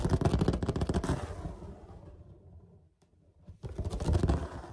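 Short fingernails rapidly tap and scratch across a large, flat white plastic lid with a woven-look perforated pattern, likely from a storage box or laundry basket, hollow underneath. Quick hollow, low-pitched taps fade into quieter scratching and a brief near-silence, then a fresh burst of tapping returns.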